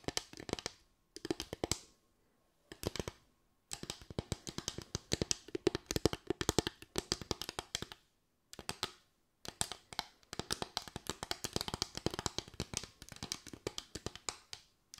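A solid bamboo tray or board made of slats, held up in the hands, is tapped and scratched with long nails. Bursts of rapid, dry clicking taps and scratches are heard with brief pauses between them. Each tap dies away almost instantly with no ringing.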